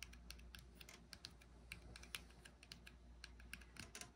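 A small frosted glass cosmetic jar with a brushed silver metal lid is held in one hand while the fingertips and nails of the other hand tap quickly on the lid top and rim. The taps are short, dry, bright clicks with almost no ring, peaking around 2.4 kHz, and they come in a rapid, uneven run like typing. A low, steady hum sits underneath throughout.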